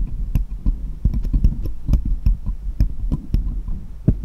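Small solid steel jeweller's screwdrivers lie on cloth while one held upright taps against the others. The result is a quick run of soft, dull taps, each with a faint bright metallic tick over a heavy low thump and a steady low hum, with almost no ring.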